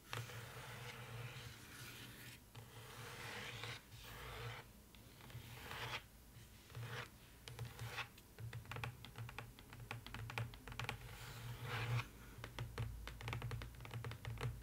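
Long nails tap and scratch rapidly on the inside bottom of an empty open cardboard box lined with dotted paper. Dense, dry clicks mix with bursts of papery scraping over a steady low hum.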